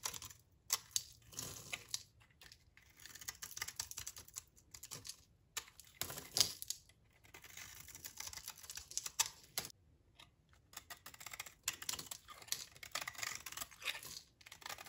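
A utility knife blade shaves and cuts thin curls and crumbly chunks off the edge of a large, solid bar of dry green olive-oil soap held in the hand. Crisp, bright scraping and crackling bursts come in quick clusters, separated by brief pauses. Each stroke ends dry and short, with almost no low end.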